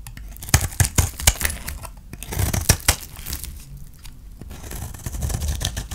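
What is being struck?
Soap bar scraped with a blade.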